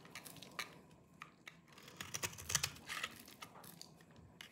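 A hand-sized solid bar of dry green soap, held in one hand, is shaved and scraped across its surface with a small knife with a yellow-tan blade, and crumbly flakes fall off. The result is a quiet, irregular series of short, dry, crunchy scrapes and crackles, mostly bright and high, with very little low end and almost no ring after each stroke.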